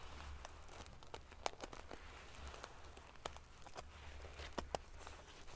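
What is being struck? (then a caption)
Padded pillow covered in metal sequins. Fingers and long nails ruffle the rows of silver metal pieces covering a large, padded metal-sequin fabric pillow. Quiet, bright clicks and prickly ticks come in scattered bursts over a steady low hum, with a few sharper taps standing out.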